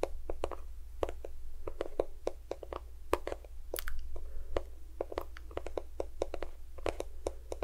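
A small, cream-yellow plastic squeeze tube of lotion, hollow and at least partly filled, is tapped and scratched along its length with fingertips and nails close to the microphone. Quick, irregular taps with almost no ring mix with faint scratchy rustles and occasional sharper, brighter clicks, all over a steady low hum.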